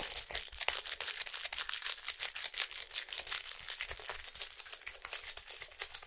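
Long acrylic nails tap and scratch a small, hollow printed cardboard box of fruit bars held in both hands. The result is a quick, irregular stream of crisp, bright clicks and dry scraping with almost no low end, each tap dying away almost at once.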